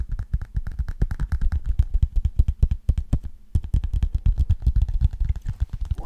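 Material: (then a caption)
Cardboard. Fingertips and nails tap and scratch the glossy cardboard cover of a thin hardcover children's picture book held upright in both hands. A rapid, steady run of dull, low, dry taps with quick, bright clicks, a brief pause just past the midpoint, then the tapping resumes with faint scratching.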